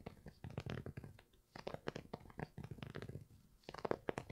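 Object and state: Knit textile sneaker, scratched.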